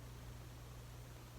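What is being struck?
Nothing is struck.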